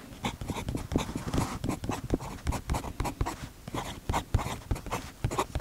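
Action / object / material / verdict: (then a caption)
scrape / metal fountain pen nib on paper notebook page / paper / none. A metal fountain pen nib writes steadily on a paper page of an open notebook on a desk, while the other hand's fingertips rest on the notebook's fabric cover. The result is a quick series of light, dry scratches and short stroke taps with a low, soft body and little ring.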